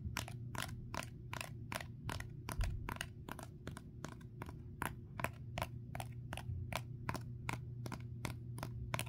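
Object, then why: Foam sponge coated in dried clay. A small rectangular kitchen foam sponge, caked in dried, cracked, porous clay that feels solid, is first lying on a wooden table and then held up in one hand while the fingertips and short nails of the other hand tap on its hard clay crust. A steady, rhythmic series of short, dry, bright clicking taps sounds over a constant low hum.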